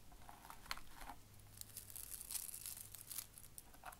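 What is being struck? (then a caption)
Small soft plastic burr balls on a felt board. Fingertips of both hands press and rub a ring of small, hollow, spiky yellow soft-plastic Bunchems burr balls into a grey felt-like board. The result is a quiet run of dry, velcro-like crackling and crunching, with short bright bursts and a faint low hum underneath.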